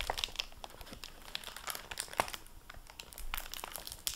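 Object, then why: Hardback book with plastic-covered dust jacket. Fingertips handle the plastic-covered dust jacket flap of a hardcover library book lying open on a table. Dense, bright crinkling comes in quick, irregular bursts with sharp crackles and almost no ring.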